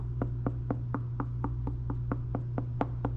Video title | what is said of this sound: PUMPKIN RISOTTO 🍂 (with a big catch!) - This recipe will make you love fall, I promise! | if you knock on it, you hear that? The sound needs to be harmonic